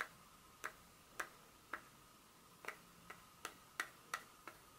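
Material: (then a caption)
Chocolate. Long pointed nails tap and scratch the smooth back of a solid, flat dark chocolate bar held in the hand. Ten short, crisp clicks land at an uneven pace, each with a bright snap centred near 2 kHz that dies away almost instantly, over a quiet background.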